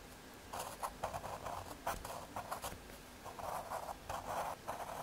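A graphite pencil scratches lines and details onto the surface of a small square of thin, solid brown MDF fiberboard. After a brief quiet start, a series of short, dry scratching strokes follows, with a mid-pitched papery rasp and faint bright edges, some strokes quick and others drawn out. The strokes come in uneven bursts against a low, steady background hiss.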